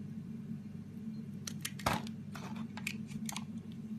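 A solid, palm-sized green bar of soap is held in one hand and carved with a utility-knife blade, scraping and shaving so that curls of soap peel off. Soft, crisp scrapes and short shaving strokes come in bursts over a steady low hum, with the strongest cut near the middle.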